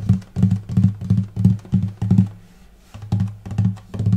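Fingertips and nails tap the upper bout near the bridge on the light spruce top of a hollow wooden acoustic guitar, without plucking the strings, though they may ring slightly. The quick, uneven taps give dull, low hollow thuds with a soft body resonance and a short decay. They pause briefly just past the midpoint, then resume.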